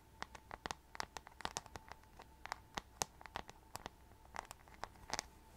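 Long nails tap and scratch the glittery rhinestone-covered back of a hollow plastic paddle hairbrush close to the mic. About twenty short, sharp clicks and scratchy ticks are scattered irregularly, each with a bright, crisp edge and almost no ring. A faint steady tone sits underneath them.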